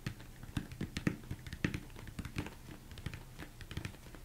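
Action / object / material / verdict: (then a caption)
tap / upside-down plastic mixing bowl / plastic / none. Fingers tap and scratch the sides of a large, hollow, empty plastic mixing bowl turned upside down. It makes a quick, irregular run of soft, dull thumps with a low hollow body and short bright clicky edges. Each tap dies away almost instantly, with faint scratching between them.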